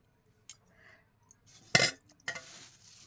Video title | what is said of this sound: विदर्भ गावरानी पद्धतीचा चिवडा | तुम्ही आवाज ऐकू शकता एकदम मस्त कुरकुरीत आवाज येतोय हे चिवड्याचे पातळ पोहे आहेत